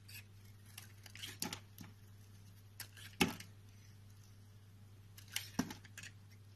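A utility knife blade scrapes and carves shavings off a solid white, hand-sized rectangular soap bar held in the palm. Quiet, irregular scraping and shaving strokes come through with bright, crisp edges, punctuated by a few sharper clicks. A steady low hum runs underneath throughout.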